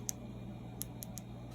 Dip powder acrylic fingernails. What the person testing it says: it still sounds the same as if we had done the regular dip method and not changed any steps